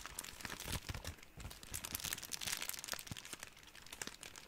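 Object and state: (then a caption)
Crumpled plastic cling wrap. A ball of clear, thin, crumpled plastic cling wrap is squeezed and crinkled with both hands. It makes a steady, quiet stream of bright, crisp crackles and tiny snaps, with occasional denser bursts of crinkling throughout.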